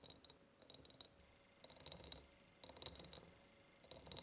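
A large, empty ribbed glass jar with a ribbon is tapped and scratched by long painted nails. Short bursts of quick, bright clicks and ticks come in four clusters with quiet gaps between them. Each has a glassy high ring and a faint tone, and every hit dies away almost at once.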